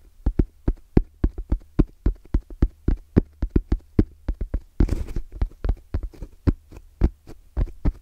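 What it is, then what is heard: EVA hard-shell zipper case. Fingertips from both hands tap quickly and rhythmically on a small, closed, hollow black zippered hard case with orange trim and a fabric-covered EVA shell. Around thirty short, dull, low knocks come in an uneven patter, with a brief, brighter rustling burst near the middle. A steady low hum runs underneath throughout.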